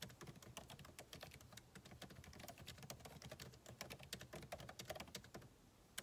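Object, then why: Plastic laptop keyboard keys. Fingertips of both hands type rapidly on the backlit keyboard of a MacBook Pro laptop, which has plastic keycaps in a solid aluminum body and rests on a desk. The result is a dense stream of short, crisp clicks with bright edges, each dying away almost at once over a soft low rumble.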